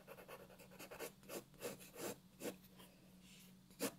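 A graphite pencil tip scratches and rubs across a white paper sheet on a wooden desk in quick shading strokes while the other hand steadies the sheet. The strokes come as soft, bright, papery scrapes with short gaps between them, and a faint steady low hum runs underneath.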